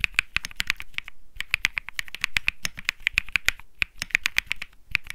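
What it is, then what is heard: Mechanical keyboard with plastic keycaps. Fingertips type steadily on the plastic keycaps of a white Think 6.5 mechanical keyboard with Bsun Lollipop switches. About 37 crisp, bright keystrokes clack with almost no ring, each around 2.4 kHz with a light low thock beneath. The typing pauses briefly twice before resuming.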